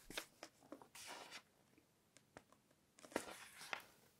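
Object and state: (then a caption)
Glossy paper magazine pages. Fingertips flip the pages of an open glossy fashion magazine and rub and brush across the glossy paper surface. Soft, crisp swishes and short, bright papery brushes come in irregular bursts, with one longer sustained rustle, all at a quiet level.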